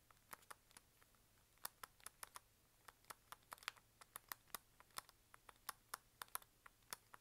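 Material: Plastic.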